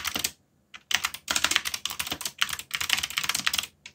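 Fingertips type continuously on a backlit mechanical keyboard with black plastic keycaps, producing rapid, bright, clacky key strikes in dense bursts. Each click is short and dry, with brief pauses between flurries of typing.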